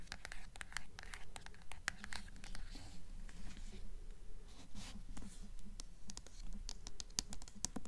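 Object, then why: Hardcover book with paper dust jacket. Long nails scratch and tap the paper dust jacket of a blue hardcover book, moving from the front cover to the back. Quiet, dry scratching runs under a quick, uneven series of sharp, bright taps that stop almost instantly, with no ring.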